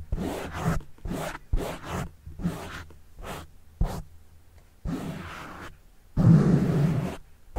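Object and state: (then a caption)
Foam microphone windscreen being scratched. Fingertips scratch a black foam windscreen on a microphone, then a plastic pen tip scratches the foam. Each scratch comes as a short burst of dull, bassy rustling and scraping, with the final pen strokes longer, louder and rougher.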